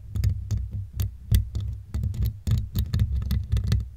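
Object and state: Metal mesh microphone grille scraped with a comb.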